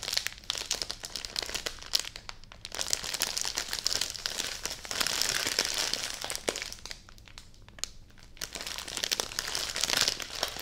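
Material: Plastic film.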